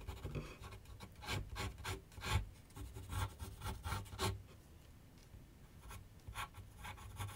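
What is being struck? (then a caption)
Pencil on paper sheet on a drawing board. A pencil scratches short strokes across a large white paper sheet mounted on a board on a wooden easel with solid backing. Quick, dry rasping bursts with a bright hiss come in irregular clusters over a low, steady hum. The strokes pause briefly near the middle before resuming more softly.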